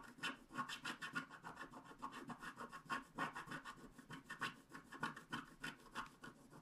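A wooden stylus scratches the coating of a thin black-coated paper scratch art card resting on a table, working in short strokes around a unicorn head. Quick, uneven rasping strokes of about three per second give a dry, papery scratch centered in the mids, with a bright hiss on top. Each stroke stops short with almost no ring.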